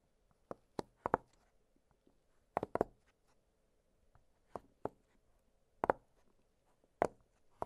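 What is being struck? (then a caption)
Silicone pop-it fidget toy. Fingertips press and pop the hollow bubbles of an octagonal blue silicone pop-it fidget toy lying flat on a glittery surface. About a dozen short, soft, dry pops come in irregular pairs and clusters, each dying away almost at once. Quiet gaps between them carry only a faint, steady low-mid hum.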